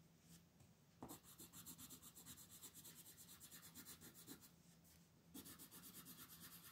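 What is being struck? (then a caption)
Colored pencil on a paper sheet. A red colored pencil shades the star points of a flat white paper mandala page resting on a table, rubbing in quick repeated strokes. The sound is a steady, bright, scratchy rasp that pulses with each stroke, with brief lighter pauses before the strokes pick up again.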